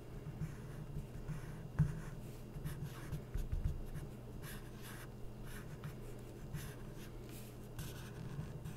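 A felt-tip permanent marker is stroked across a printed photo on an open glossy magazine, its thin coated paper pages lying flat. Short, scratchy drawing strokes come through as soft, bright hisses over a steady low hum, with a sharper tap near the start.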